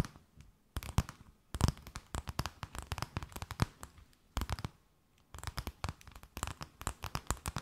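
A thin, empty, clear plastic bag held between both hands is tapped, scratched and crinkled with long nails. The result is a rapid run of dry, crisp crackles and sharp taps, with bright rustling bursts. The sound briefly goes quiet before a new flurry of crinkling begins.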